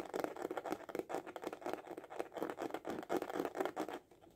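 A small, hollow hard-shell glasses case with a printed cover is held upright and tapped quickly with the fingertips and short nails. The result is a fast, steady patter of dry, hollow clicks centred in the low-mids with scratchy edges and almost no ring. The tapping fades out near the end.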